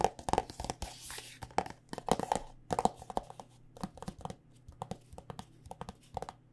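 Long nails tap rapidly and irregularly on a white plastic body butter squeeze tube filled with lotion, making crisp, short clicks with a hollow plastic tone around 760 Hz. A brief bright, scratchy rustle sounds near the start, and a faint low hum runs underneath throughout.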